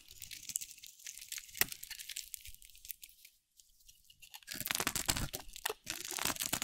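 A metal utility blade shaves curls off a dry, solid, round cream-colored soap bar with a teal rim, held in the hand. Bright, crunchy scraping and crackling bursts come in quick, uneven strokes, fade to near silence around the middle, then return louder and denser toward the end.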